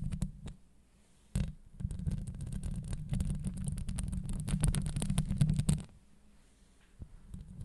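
Long acrylic nails scratch and tap a hollow steel wire-mesh microphone grille up close, producing a deep, muffled rumbling scrape dotted with bright clicks. A few soft taps open the clip, then after a sharp hit the scratching turns dense and continuous for about four seconds before fading to near silence, with a couple more taps near the end.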